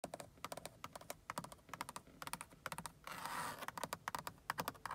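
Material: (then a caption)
Synthetic leather. Long acrylic nails tap quickly across a large, fixed inner car door panel covered in black grained synthetic leather over a hard backing, giving short, dry, clicky taps. Near the middle the taps give way to a brief, hissy scratch along the textured surface before the tapping resumes.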